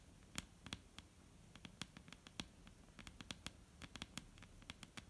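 Long painted nails of both hands tap on a solid, dark brown wooden table top. About two dozen quiet, sharp, bright clicks fall in an irregular patter. Each click stops almost instantly with no ring, over a faint low background hiss.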